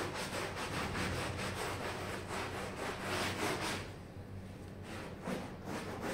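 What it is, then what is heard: Wool pile rug being scrubbed. A pink-red plastic bristle hand brush scrubs a small red patterned wool pile rug covered in soap foam, while the other hand presses the rug down. Quick back-and-forth strokes, about three per second, make a steady, bright, wet rasping with a low rumble beneath. The scrubbing eases briefly near the end before picking up again.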